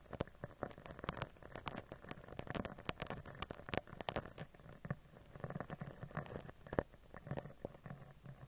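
A black spoolie brush with a clear handle scratches and brushes across the round, hollow woven-wire metal mesh grille of a microphone. Dense, quick crackling and pattering scrapes come in an irregular stream of short, dry ticks with a low rumbling body and little high end.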